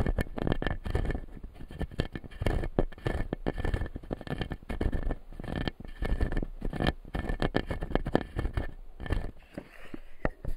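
Fingertips scratch across the white plastic teeth of a solid, clear acrylic lower-jaw dental model, making dense, rapid scraping and tapping that runs almost continuously with a few brief pauses. The sound is close and heavy in the low end, with short, dry clicks that die away almost instantly.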